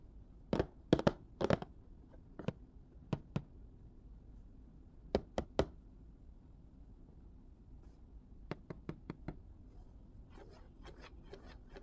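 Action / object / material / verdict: tap / cardboard and plastic blister toy package / cardboard, plastic / none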